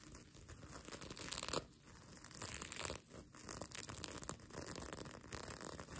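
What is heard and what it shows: Long nails scratch across the plastic sequins of a sequin blanket, then the fabric is lifted and crumpled in the hands. The result is a dense, bright crackling and rustling texture that swells in scraping waves with brief lulls between them.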